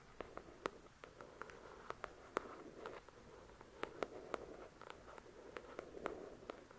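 Long, pointed dark red nails tap and scratch the glossy card cover of a solid paperback novel, "The Shack", lying on a white cloth. About 21 quiet, sharp clicks with a woody midrange and bright tips cut off instantly, over a soft, continuous scratching hiss.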